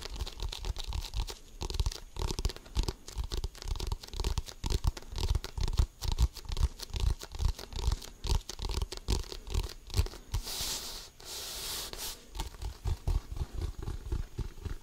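Fingernails and fingertips scratch across the pebbled surface of an inflated, hollow composite leather basketball. Dense, irregular scraping comes with deep, hollow thumps from the ball's body, and a brighter hissing rub swells near the end before the scratching resumes.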